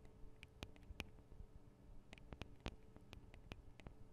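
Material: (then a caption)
Metal. Long acrylic nails tap on the small metal microphone capsules of a Tascam DR-40 recorder, making about fourteen quiet, sharp clicks with bright ticking tops over a steady low hum. The taps come at an uneven pace, and the hands lift slightly at the end.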